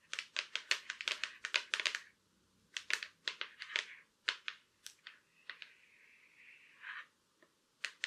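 Long black acrylic nails tap and scratch on the back and edge of a silver Acer laptop lid, a thin hollow shell. Quick bursts of sharp, bright clicking taps come with brief pauses between runs, then a short steady scratching rasp before a final few taps. Each tap is dry and dies away almost instantly, with no low body to the sound.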